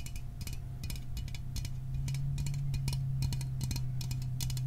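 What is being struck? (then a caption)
Small aluminium soda can. A small aluminum Fanta soda can is held in the hands and tapped with fingernails on its body and rim. Quick, uneven, bright metallic clicks follow one another over a steady low hum.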